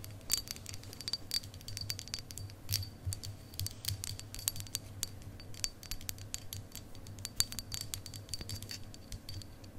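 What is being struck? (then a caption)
Quartz crystal point tapped with acrylic nails. A long, solid clear quartz crystal point, held horizontally, is tapped and scratched along its facets with long acrylic nails. Dense, rapid clicks and scratches with a bright, glassy ring sit over a steady low hum.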